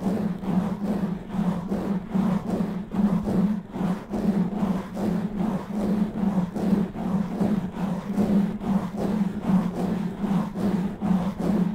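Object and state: Nothing is struck.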